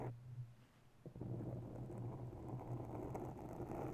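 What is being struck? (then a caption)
Foam microphone windscreen. Long nails quickly tap and scratch the top and sides of a round grey foam ball windscreen on a mounted microphone. The result is a dense, muffled, low-pitched rustling and thumping, with a brief quieter stretch before a sharp tap at about one second. After that tap, the scratching grows steady and fuller.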